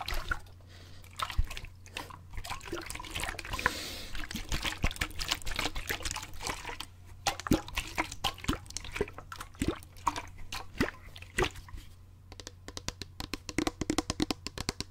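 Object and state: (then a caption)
Plastic water bottle partly filled with water. A clear plastic sports water bottle, about 20 cm long, hollow, with a gray screw cap and a yellow flip handle, is partly filled with water and held in both hands as it is shaken and tilted so the water sloshes. The result is a steady run of wet sloshing and gurgling with many short, sharp splashes and clicks over a faint, constant low hum.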